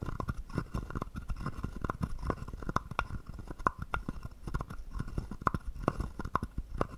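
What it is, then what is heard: Wooden frog guiro. A small, hollow, carved wooden frog guiro is held in the hand while a wooden stick scrapes and taps along its ridged back. The result is a steady stream of short, dry wooden clicks and knocks with a low hollow body and a woody tone around 1 kHz, each dying away almost instantly.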